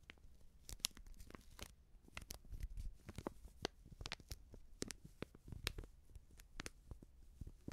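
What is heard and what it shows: Long nails tap and scratch a small Backpulver baking powder sachet made of coated paper and filled with powder. A quick, uneven run of quiet, crisp taps and papery crinkles is heard, each with a bright edge, over a soft low rumble. The taps stop dead with almost no ring.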